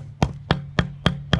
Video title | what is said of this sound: J’ai cru ne jamais arrivé au bout de ces pavés.. 😅 (Fin de l'aménagement de ma maison !) | ça sonne dans le dur, à mon avis je suis sur la bordure en béton